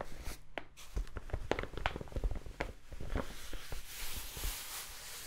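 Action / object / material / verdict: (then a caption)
scrape / kraft paper mailer bag / kraft paper / none. Long nails scratch and tap across a large brown kraft paper mailer envelope held up in front of the face. The result is a quiet run of dry, crinkly paper scrapes and soft taps with no ring, ending in a brighter, hissy rustle.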